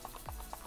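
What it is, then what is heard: Toy carrying case with loose beads rattling inside. An unopened toy carrying case with loose beads inside is shaken, giving a maraca-like rattle. Quiet, repeated bursts of bead clatter centre around 660 Hz over a faint low rumble.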